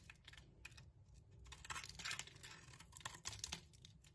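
A metal blade scrapes the glossy purple coating off a solid, striped soap bar held in the hand, peeling it away in curls. The sound is a quiet, dense run of crisp, bright scratching and crunching bursts that swell and fade with each stroke.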